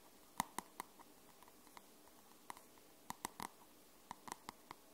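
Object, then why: Paperback book with card cover. Long nails tap and scratch the dark grey matte card cover of a paperback book. Short, dry clicks ring around 1 kHz and come in an uneven, sparse rhythm, with a faint scratchy hiss between them.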